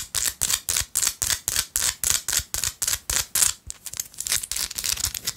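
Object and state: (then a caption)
Salt rock scratched with nails. A small, solid, pinkish-orange Himalayan salt rock held between fingers is aggressively scratched with long light-blue acrylic nails. Sharp, bright, hissy scratch strokes repeat in a quick, fairly steady rhythm. Toward the end they break into faster, softer, fluttering scrapes.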